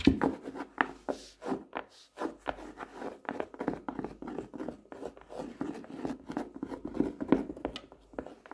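Fingertips and nails tap the cover of a closed hardcover notebook with a black-and-white checked cover and grid page edges, lying flat on a desk. The steady stream of quiet, dull taps has a low-mid tone and dies almost instantly, with little ring and a soft rubbing texture.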